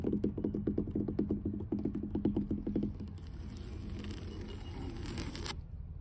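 Long blue nails on both hands rapidly tap the surface of solid, weathered wooden dock planks, giving a quick run of short, dull knocks with a low woody tone. After about three seconds the tapping gives way to a steadier, softer scratchy rustle with a thin, high hiss that stops abruptly near the end.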